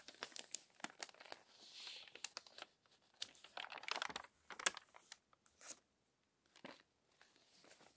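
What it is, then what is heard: Crumpled glossy magazine pages. Long-nailed fingers turn the crinkled glossy pages of a crumpled paper magazine lying open. The result is quiet, bright crackles and rustles: a dense run of sharp crinkles and short crunches with brief silent gaps, little low end, and no lingering ring.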